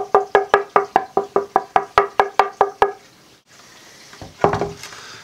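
A full 8/4 Sitka spruce board, the stock an acoustic guitar top was cut from, is tapped in a quick, steady series, each tap giving a bright woody knock with clear tonal ringing around 400 to 800 Hz. After a brief pause, a few softer, irregular knocks follow. Even at this thickness the board rings beautifully, showing good tonewood quality.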